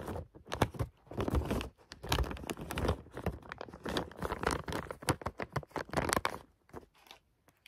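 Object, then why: Plastic bag of bath oil beads. A clear plastic bag of green bath oil pearls is handled and squeezed by fingers, crinkling the plastic and shifting the beads inside. Many quick, dense crinkles and crackles come in bursts with short pauses between them, carrying a low thump beneath the bright plastic rustle.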